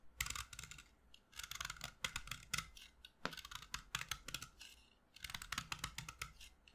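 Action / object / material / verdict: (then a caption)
scrape / chalk stick carved with a blade / chalk / none. A solid white chalk stick held in the hand is carved with a utility knife blade, scraping and cutting into it. Short, dry, bright scraping strokes come in quick runs separated by brief pauses, each stroke a crisp rasp with almost no ring and a faint low thump beneath.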